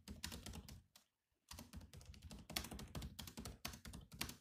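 Fingertips type on a grey laptop's black plastic keys, making a rapid run of crisp clicky taps with soft low thuds and a bright edge. The typing stops briefly for about half a second near the one-second mark, then resumes at a steady, quick pace until the end.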